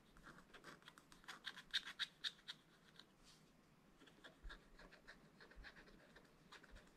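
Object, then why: Scratch-art paper page scratched with a wooden stylus. A wooden stylus scratches away the coating on a bird's wing drawn on a black-coated scratch-art page in a spiral-bound book. About seventeen short, dry, bright scratching strokes come in a quick, uneven rhythm, loudest in the first few seconds, then softer and sparser.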